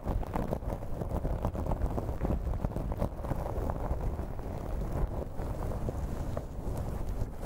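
Fingers and long nails scratch and ruffle the fibers near the top of a light blue synthetic-hair wig placed over a microphone. The result is a dense, continuous, low, muffled rustling rumble with many short crackling scratches and almost no bright content.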